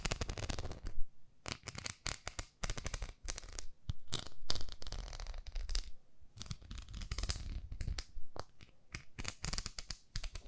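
Long nails tap and scratch a round, flat pink plastic facial cleansing brush pad with a handle. Dense bursts of crisp clicks and scratchy rasps rise and fall over a low, soft rumble, with brief quiet gaps between flurries.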